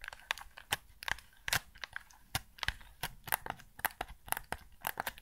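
Fingertips press and tap the buttons and hollow hard-plastic shell of a hand-sized white PS5 DualSense controller. The result is a quick, irregular series of sharp, dry clicks and crunchy taps with a bright edge and almost no ring, over a low, quiet background.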